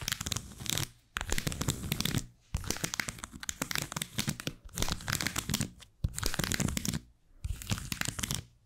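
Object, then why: Leather card holder with plastic cards inside. Long white almond acrylic nails tap and scratch the face and edges of a small, flat black textured saffiano-style leather card holder holding plastic cards. Bursts of dense crinkly, scratchy clicks with a low thump and bright hiss are broken by brief pauses, all very close to the microphone.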